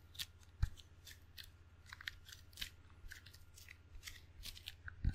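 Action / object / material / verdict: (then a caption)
tap / table tennis paddle, rubber on wood / rubber / none. Fingertips pat and peel across the black rubber face of a wooden table tennis paddle, making a string of quick, sticky snaps and soft taps with bright crackle. A low steady hum runs underneath, and a few louder thumps stand out from the lighter peeling sounds.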